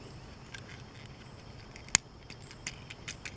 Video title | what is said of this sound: Red Loco Motorin' 2021 Hot Wheels X-Racers 2/5 Toy Train Locomotive Unboxing and Review | sounds like plastic but it is metal